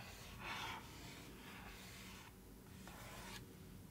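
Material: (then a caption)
Cardboard. A fingernail, then a wooden stick, traces and scratches across the surface of a cardboard box lid printed with newspaper. A soft, dry rubbing and rasping is heard, with a louder, brighter scrape early on followed by quieter strokes over a low steady background.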